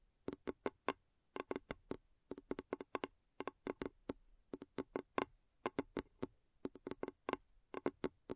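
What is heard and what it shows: Long nails tap the sides of a large, clear, hollow glass bowl placed upside down over a recorder, giving 37 quick, dry clicks in uneven bursts. Each tap has a tone near 380 Hz with a faint high glassy ping and almost no ring.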